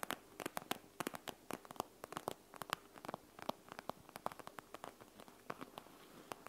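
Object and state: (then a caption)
Plastic gel bead eye mask. Fingernails scratch and squeeze the loose gel beads behind the clear plastic front of a panda gel bead eye mask resting on a wooden table, mixed with rapid tapping. The result is a dense run of sharp, dry clicks and crackly scratches with bright, quick transients and almost no low end.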